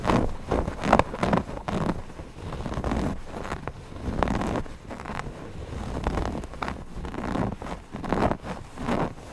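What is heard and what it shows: Fingertips of both hands rub and scratch the stitched eyes of a stuffed cotton owl cushion. The result is a steady run of soft, low, muffled scratching and brushing with frequent short rasps and very little high content.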